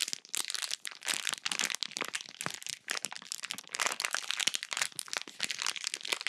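A small sealed clear plastic bag full of pink slime is squeezed and crumpled by fingers with long pink nails close to the microphone. A dense run of bright, dry crinkling and crackling bursts follows, each snapping off with almost no ring and no low end.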